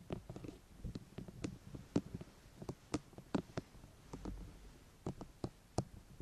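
Long painted fingernails tap and scratch the top of a white, hollow, rectangular plastic binaural microphone housing with ears at both ends. Quiet, dry, sharp clicks with short scratchy bursts come in an irregular stream, each dying away almost instantly over a soft low background.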